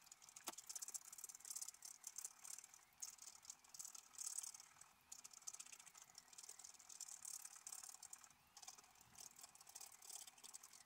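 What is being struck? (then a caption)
Scratch-art paper card scraped with a wooden stylus. A wooden stylus held in the fingers scratches lines into the black coating of a thin, solid scratch-art page from a book lying flat on a table. Dry, bright, hissy scratching comes in quick overlapping strokes and short bursts, with a sharp tick near the start and almost no low end.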